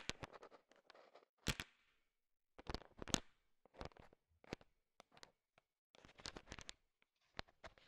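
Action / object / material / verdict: scrape / bowl of sugar-shelled peanut chocolate candies stirred with a wooden stick / sugar-coated candy / none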